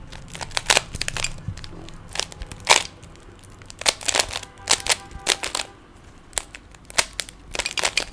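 A small solid plastic 3x3 Rubik's cube has its layers turned by fingertips, producing a rapid, irregular run of sharp, bright plastic snaps and clicks. The clicks are very short and crisp, with little low end, and come in uneven bursts separated by brief quieter gaps.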